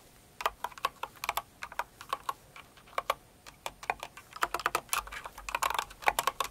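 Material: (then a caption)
Plastic. A full-size light blue and pink Cinnamoroll mechanical keyboard with plastic keycaps and a plastic case, resting on purple fur, is typed on with long acrylic nails and the fingertips of both hands. The keystrokes are short, dry, clacky plastic taps with a bright edge and almost no ring. The typing starts as a steady, spaced-out rhythm and then quickens into a denser, faster run of keystrokes.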